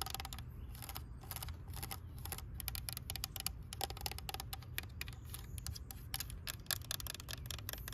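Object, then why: Plastic toy tractor. Long nails tap rapidly across a green hollow plastic toy tractor, striking the hood, the orange part and the area near the wheel. Each tap is a short, bright, dry click with almost no ring, heard over a steady low rumble.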